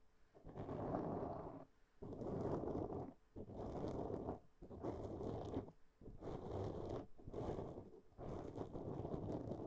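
Long nails of both hands scratch a black foam windscreen on a microphone in seven separate strokes. Each stroke is a dense, muffled, low-to-mid rustling scrape with little high end. Brief quiet gaps separate the strokes.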